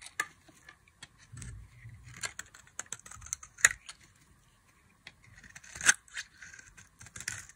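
A box-cutter blade slices fringe strips into the face of a solid, palm-sized bar of dry beige soap. It makes quiet, crisp, bright scraping and cutting sounds at an irregular pace, with two sharper snaps standing out. Each cut stops dead, with no ring.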